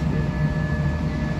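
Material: Nothing is struck.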